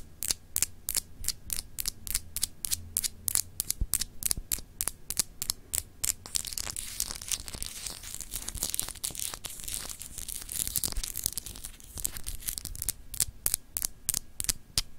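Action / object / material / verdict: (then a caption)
scrape / glass globe paperweight / glass / none. Long acrylic nails scratch and tap a palm-sized solid glass globe paperweight with an etched texture as it is turned in the hand. Dozens of sharp, bright clicks tick out at a steady, rapid pace, joined midway by a dense, high scratching hiss over a faint low hum.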